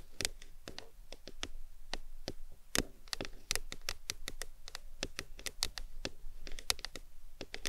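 Long decorated nails tap and scratch the sides of a tall printed aluminum Arizona drink can, which stands upright on a fluffy towel and is held in both hands. Quick, bright, dry clicks arrive in an irregular stream, each dying away almost instantly over a soft low rumble.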